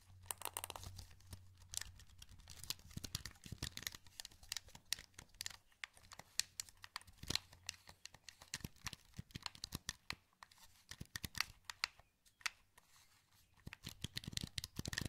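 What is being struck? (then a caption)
Plastic game controller. A wired, hollow black plastic PS2 controller is held in both hands while the thumbs click its buttons and move its joysticks. Dense, quiet clicks and crisp plastic ticks and rattles come in rapid irregular bursts, mostly bright and dry with no ring. A faint steady low hum sits underneath.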